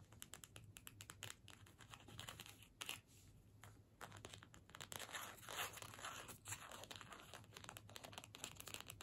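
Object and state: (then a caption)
Paper gift tag. A small, flat card-stock holiday gift tag, held in the hands, is scratched and tapped with long nails. The result is a steady stream of quick, crisp, papery scratches and clicks, with a faint low hum underneath.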